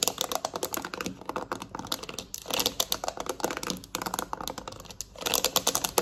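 Long nails on both hands rapidly tap the rubber buttons of a black plastic TV remote lying on a surface. The result is a dense, fast stream of dry, bright clicks with almost no ring, coming in busy bursts separated by brief lulls.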